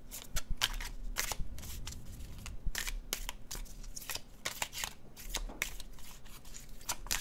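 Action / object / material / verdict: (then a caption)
shake / paper tarot card deck / cardstock / none. A red-brown paper cardstock tarot deck is shuffled by fingertips, the cards flicking against each other. Quick, crisp, bright snaps and rustles come in a steady irregular stream over a quiet, low steady hum.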